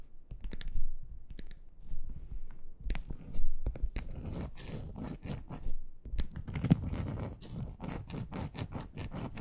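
Long acrylic nails on both hands scratch and click across a large, flat, grey textured plastic board, a solid thin sheet. The sound is a dense, irregular run of scraping strokes broken by sharp, short clicks, with most of the energy low and dull and the bursts swelling and fading throughout.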